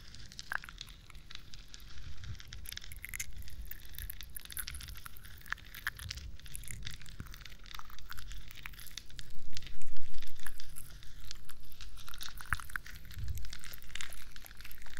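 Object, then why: Textured plastic spherical lamp. Long acrylic nails scratch a hollow, hand-sized spherical moon lamp with a textured plastic shell, lit and changing colour, held beside the microphone. The result is a dense, irregular stream of dry scratching and crackling ticks over a low rumble, with bright clicks scattered throughout. The scratching swells loudest around the ten-second mark before settling back.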